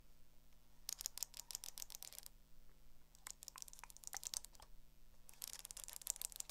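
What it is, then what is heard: Hardcover spiral notebook. Long acrylic nails tap quickly on the cover and spiral of a small black hardcover spiral notebook. Three bursts of rapid, bright, dry clicks come over a faint, steady low hum, with short quiet gaps between them.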